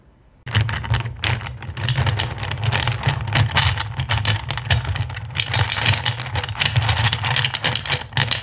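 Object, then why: Pile of small acrylic gems in a bowl. Fingertips rake and scratch through a black bowl full of small, solid, clear acrylic gems. After a brief quiet start, a dense, continuous stream of bright clicks and rattles runs over a steady low hum.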